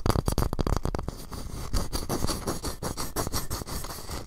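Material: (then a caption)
Wood. Fingertips tap and scratch the wooden walls of a small, square, hollow, light wooden masu cup tilted on its side. A quick run of dull, low-heavy taps with almost no ring gives way to softer, uneven scratching and rubbing with occasional brighter taps.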